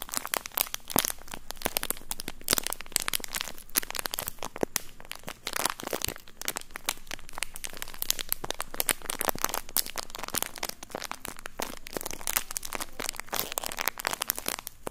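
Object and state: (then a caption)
Thin plastic bag. A thin, empty, clear plastic bag is crinkled and crumpled by the fingertips of both hands in front of a microphone. Dense, bright crackles and sharp little snaps run continuously for about 15 seconds, each dying away almost instantly.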